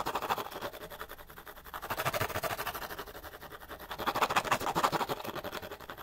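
The sides of a small, hollow, empty cardboard light bulb box are scratched and tapped rapidly with the fingernails. This makes a dense, continuous stream of dry, papery scratching and quick taps centered in the midrange. The sound swells louder around the two-second mark and again from about four to five seconds.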